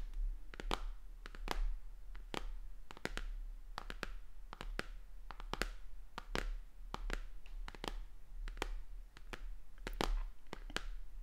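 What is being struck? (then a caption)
Plastic tablet casing. Long dark-painted fingernails tap and scratch along the plastic edge and back of a white plastic tablet held upright. Quick, dry clicks arrive in an irregular stream, each dying away almost instantly, with brief scratchy strokes between them. A steady low hum runs underneath throughout.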